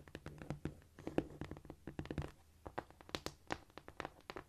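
A flat, solid cork floor is tapped with long nail tips and with fingertips, palms up. A quick, uneven run of short, dry taps and light scratches comes through, each hit dying out almost at once. The result is a soft, low-mid clicking patter with little ring.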